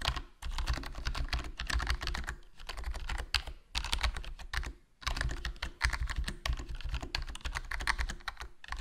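Fingertips type continuously on a HyperX Alloy Core RGB plastic membrane gaming keyboard with a foam mod, a hollow black plastic case and black plastic keycaps. Rapid, soft, muted key clacks with a deep low thump run in bursts, with brief pauses between runs.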